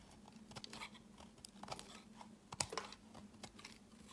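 A utility knife blade shaves a solid pale green soap bar into hard chips, making quiet, crisp scraping crunches and bright clicks. The cuts come in an irregular series, with the loudest crunch just past halfway, over a steady low hum.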